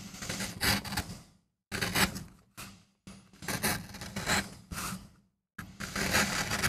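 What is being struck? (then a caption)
MDF printing block. A wooden-handled gouge makes scraping cuts into a small, flat, solid MDF relief printing block, held by the other hand on a rubber mat. Dry, rasping scrapes come in bursts of bright, gritty noise over a low hum, separated by brief silences as each cut ends.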